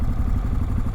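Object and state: Nothing is struck.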